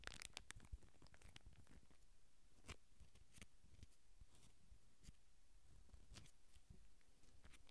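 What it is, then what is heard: Plastic sauce packet, crinkled. A small, red, filled and flexible plastic sauce packet is held in the fingers close to the mic while fingertips and nails scratch and crinkle it. Quiet, continuous crackling and scratching is broken by sharp, bright clicks, over a steady low rumble.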